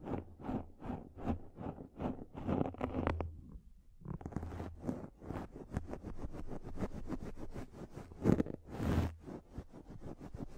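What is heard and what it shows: Long nails scratch a pink, fluffy microfiber makeup remover pad close to the mic, producing soft, low, rustling strokes in a steady rhythm. After a brief pause near the middle, the scratching becomes quicker and denser, with a few louder brushing swipes toward the end.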